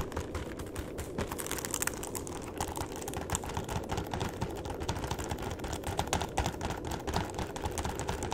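A long, flat cardboard chocolate box is held horizontally while its edges and bottom are tapped with the fingertips. The result is a rapid, steady stream of soft, dull taps with a low, hollow thump and a light papery click on top, much like fast typing on a keyboard.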